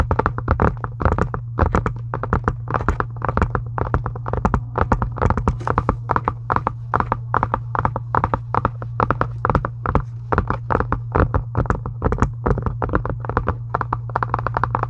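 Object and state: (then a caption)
Faux leather journal cover. Long pink acrylic stiletto nails on both hands tap rapidly on the closed, solid cover of a pink embossed faux leather (PU) journal or Bible lying flat on a white desk. The result is a dense, continuous stream of short, dry clicks and taps that die away almost instantly, over a steady low hum.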